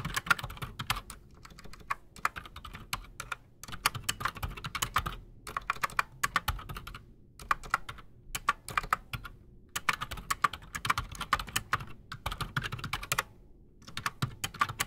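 A full-size black Redragon Shrapnel K589 mechanical keyboard with Outemu Silent Sky silent switches and Razer PBT plastic keycaps sits solid on a desk while both hands type fast with the fingertips. Bursts of quick, muted, short clicks and soft thocks, centered in the mids around 1.4 kHz, alternate with brief pauses.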